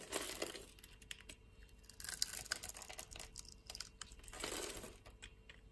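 A solid green bar of soap held in hand is grid-cut and shaved with a metal utility knife blade. The sound is a run of dry, crisp scraping and crumbly cuts, with brighter, louder strokes near the start, middle and end. It is quiet and mostly high-pitched, and the short cuts die away almost at once.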